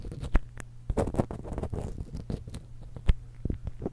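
Long acrylic nails scratch along the crossed metal capsule barrels of a small silver X/Y stereo microphone while one hand holds it. The close, dull scratching comes with irregular soft taps and clicks, a few sharper knocks standing out, over a steady low hum.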